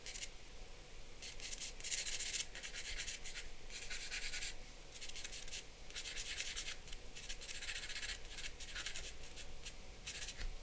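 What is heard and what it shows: A charcoal pencil held in the hand scratches and strokes across a large white drawing paper sheet laid on a black board lying flat on a wooden desk, sketching lines. Bursts of bright, dry scratching come and go in quick strokes over a faint steady low hum, and the drawing continues without a clear end.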